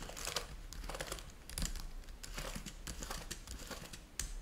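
Fingertips type quickly on the keys of a black plastic laptop keyboard. The result is a steady run of light, bright clicks and soft clatter over a low, constant background hum.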